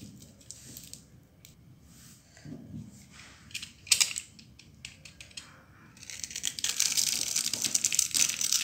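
A solid, dry red bar of soap is picked up, grid-cut and shaved with a utility knife blade, and small cubes crumble off. Quiet, bright scraping and crisp cutting ticks come in scattered bursts, with one sharper crunch near four seconds. The sound then builds into a dense, continuous, high-pitched shaving rasp over the last few seconds.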